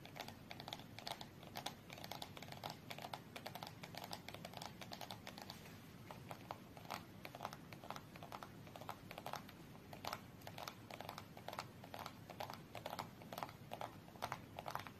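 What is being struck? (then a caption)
Small cardboard card box with cards inside, tapped and scratched by long fingernails. Long nails tap and scratch the sides of a small red cardboard UNO card box, held upright and closed with cards inside. Quick, dry, clicky taps land in a steady patter over a soft scratchy rustle, centred around 700 Hz with a bright edge. Each tap dies away almost instantly, and the whole clip stays quiet.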